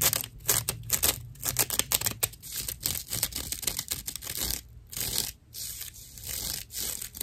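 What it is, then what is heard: Natural loofah sponge slice. Long acrylic nails scratch a hand-sized round slice of dried natural loofah, a fibrous plant material with hollow seed chambers and a white string loop. The result is a rough, dry, bright scratching in quick bursts with short gaps, with a faint steady high tone behind it.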